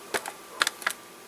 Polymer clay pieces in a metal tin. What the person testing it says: if I shake it it doesn't sound hard barely